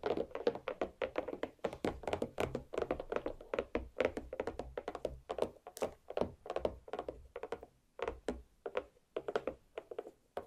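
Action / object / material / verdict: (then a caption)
tap / watermelon half / watermelon rind / none. Long black nails rapidly tap and knock on the solid dome of a large watermelon half resting on a plate. The result is a dense stream of short, dull thunks centered around 470 Hz, each dying away almost instantly, with faint clicky tops.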